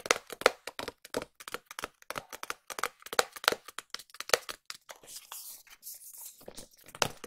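A small, hollow white SKMEI cardboard watch box is tapped and scratched with long nails. About 4 seconds of quick, crisp dry tapping give way to a softer, hissy scratching stretch, and the clip ends with a few more taps.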